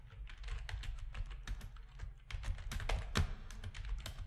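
Fingertips of both hands type on a full-size black plastic RGB-backlit keyboard with a hollow plastic housing, resting on a desk. Quick, irregular clicks and clacks run steadily throughout, each key strike dying away almost at once over a deep, hollow thud.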